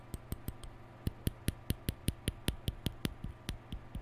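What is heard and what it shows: A hollow plastic round hair brush with a lilac cap and white plastic bristles is held in the hand while fingertips rub and scratch the bristles and the cap. The result is a loose run of about 18 short, dry plastic clicks and scratches, roughly two to three per second at an uneven pace, each with a brief bright edge. A steady low hum sits underneath.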